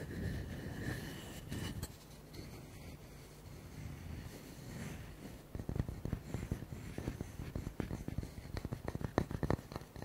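A round, solid wooden log slice with a bark rim, held in both hands, is scratched with fingernails for about five seconds, making a soft, steady rustling scrape. Then fingertips and nails tap it quickly, giving sharp, dull knocks that stop almost at once with no ring.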